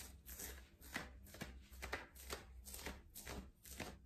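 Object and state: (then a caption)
Ribbed knit cotton shirt being scratched. Fingertips and nails scratch, rub and pinch a worn yellow ribbed knit cotton long-sleeve top at the chest and shoulders. The result is a series of soft, irregular, bright scratchy strokes with a faint low hum underneath.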